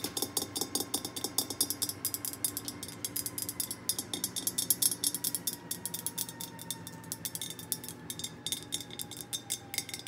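Long painted nails tap rapidly and steadily on the top of the ceramic lid, near the black knob, of an orange glazed, hollow, pumpkin-shaped ceramic candy jar filled with wrapped candy bars. Each tap is a bright, crisp click that dies away almost instantly, with faint ringing tones underneath the continuous stream of tapping.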